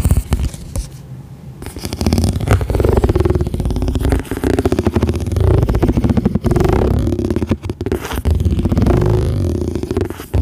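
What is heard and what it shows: Long nails scratch and tap a round, clear plastic lid with a ridged radial texture, thin and hollow, held over the mic. The result is a dense, rapid stream of scratchy, boomy low-heavy rasps with quick taps, briefly quieter early on before continuing steadily.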